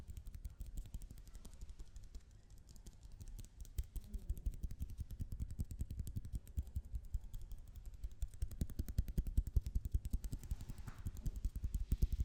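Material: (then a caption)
Plastic. A roll of blue tape is tapped with a steady stream of soft, dull, low thuds that patter quickly and unevenly. The tapping grows a little louder and denser toward the end, with each tap dying away almost instantly.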